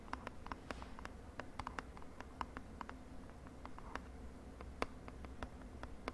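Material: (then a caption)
Cardboard. Long nails tap quickly on a small purple printed cardboard cosmetic box held in the hand. The taps are short, dry and clicky, with bright edges that die away almost at once, over a quiet low steady hum.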